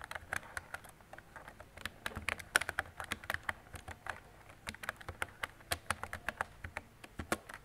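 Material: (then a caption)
Plastic. Fingertips with long decorated nails type on a mint-green retro mechanical keyboard with round plastic keycaps and a hollow body. A steady, uneven run of sharp, clicky plastic taps comes through, each dying out almost instantly. The sound is bright and hollow, centered around 1.5 kHz, with little low end.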